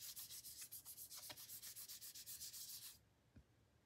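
Fingertips and short nails rub, trace and lightly tap the surface of a small, thin, solid, flat pink printed cardboard photo card held in the hand. Fast, rhythmic, bright scratchy strokes run for about three seconds and then stop abruptly, followed by a faint, soft low tap.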